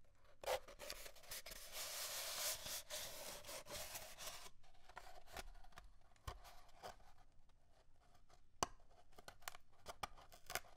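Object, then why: Cardboard paper towel tube. Fingernails scratch and rub the surface of an empty, hollow cardboard paper towel tube as it is held and rolled on a wooden desk. A dense, bright, papery scratching fills the first half, then thins into sparser rubs and sharp little taps and clicks.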